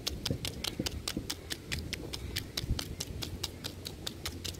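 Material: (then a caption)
Bark. Fingertips and short nails tap and scratch a large, solid tree trunk with rough bark. Around two dozen sharp, bright clicks come in a quick, even series over a low, rustling rumble, each tap dying away almost at once.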